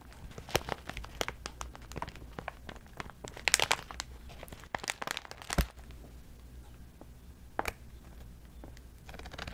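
Long metallic false nails scratch and crinkle a clear plastic zip pouch as it is held and handled. The result is a dense run of sharp, bright crackles and rustles over a steady low hum, with a louder cluster in the middle and quieter scattered scratches toward the end.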